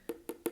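Three hollow, woody taps on an empty plastic hand sanitizer bottle, each a short, dry knock with a low resonant pitch that dies away almost at once.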